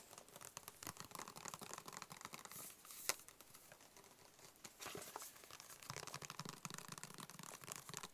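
A hollow, closed, white cube-shaped cardboard box is tapped and scratched with fingertips and short nails. The result is a quiet, steady run of dry, bright scratching and quick papery taps, with one sharper tap standing out partway through. Each sound dies away almost instantly with no ring.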